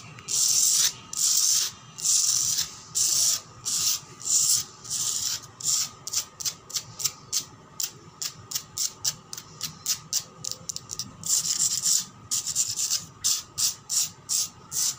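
Long black pointed nails scratch fast and aggressively across a solid concrete floor with pinkish patches. Bright, hissy scrapes come in distinct bursts, at first longer sweeps, then quicker, shorter strokes. There is almost no low end and the strokes are separated by brief quiet gaps.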